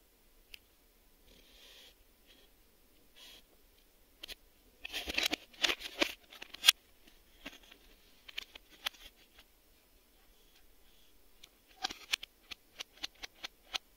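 A black plastic VHS video cassette, a hollow hand-sized shell, is held in both hands and tapped along its face and edges with fingertips and short nails. Quiet scratchy rustles give way to a dense burst of bright, clicky taps, then a steady run of sharp, dry clicks with almost no ring.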